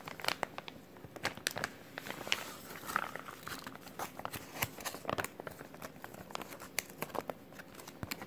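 Fingers crinkle and crumple a clear plastic resealable zip-lock bag made of thin film with a green tab. The result is a steady stream of dry, bright crackles and sharp little snaps over a soft rustle, with almost no low end. Each crackle dies away almost instantly.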